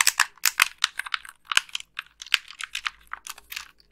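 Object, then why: Plastic game controller buttons. Long nails tap and click the buttons of a white, hollow plastic wired game controller held in both hands. The result is a rapid, irregular run of about nineteen sharp, bright plastic clicks with almost no low end and very little ring.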